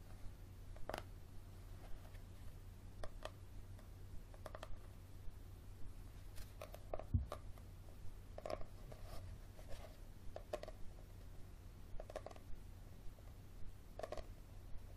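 A small, thick yellow paperback survival handbook with a solid, leathery cover is held in the hands while fingernails tap and scratch across its cover. Soft, dry ticks and brushing scrapes come at an uneven pace over a steady low hum, and each sound dies away almost at once.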